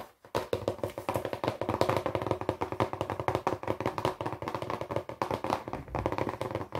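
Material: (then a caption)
Cardboard. A small, hollow, closed brown cardboard box is held in both hands and tapped fast with the fingertips and nails on its flat top and sides. The result is a rapid, continuous stream of short, dry, hollow knocks with a midrange tone around 530 Hz, each dying away almost instantly, after a brief silent start.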